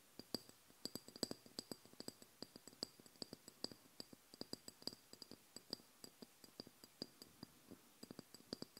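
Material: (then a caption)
Glass. Long blue nails tap and scratch the side of a small amber glass oil bottle that is filled with liquid and hollow. About 47 quick, sharp clicks follow in an uneven rhythm, each dying away almost instantly. They have a faint low body under a bright, high glassy ring.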